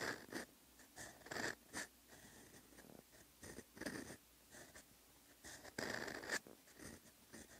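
A steel extra-fine fountain pen nib scratches across a lined paper notebook page, a flat solid sheet, while handwriting Korean characters. Short, dry, raspy strokes come in separate bursts with quiet gaps between them, each carrying a bright scratchy hiss and a faint squeak near 1.7 kHz.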